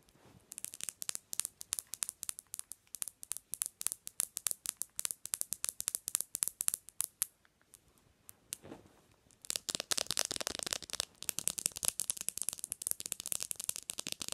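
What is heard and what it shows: Long acrylic nails tap quickly on the glass screen of a black smartphone lying screen-up on a white pillow. For about seven seconds there are rapid, sharp, bright clicks, then a brief lull with a soft rustle. From about 9.5 seconds the taps return as a denser, nearly continuous clatter that runs to the end.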